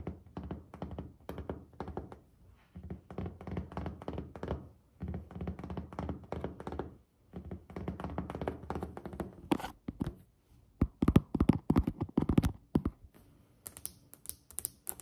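Fingertips and long nails of both hands tap and knock on a solid white glazed ceramic tile countertop, making quick, dull thunks with short, clicky nail ticks. The taps come in busy, uneven bursts separated by brief pauses. They build louder and sharper toward the end, with bright clicks near the close.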